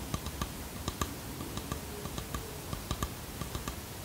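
Long fingernails tap and scratch a small varnished wooden box with brass hinges and a carved edge, producing about a dozen quick, dry, clicky taps over a soft scratching hiss. Each tap is a short, low knock with a bright click on top, dying away almost at once.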